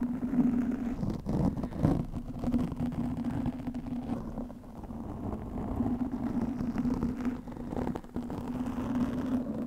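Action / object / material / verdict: scrape / foam microphone windscreen / foam / none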